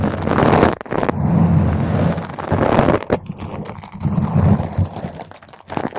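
Long pointed green acrylic nails on both hands scratch a purple spherical foam cover on a microphone. The result is a dense, low, rumbling crackle and crunch, heavy in the bass with little high end. It runs almost continuously, with brief drops near 0.8, 3 and 5.6 seconds.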